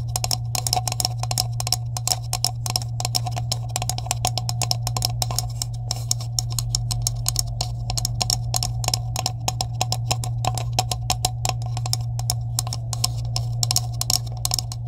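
Long nails tap rapidly on the caps of a green hollow plastic tube held at both ends, making a dense stream of sharp, bright clicks. A steady low hum sits underneath the tapping throughout.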